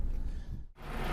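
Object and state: Nothing is struck.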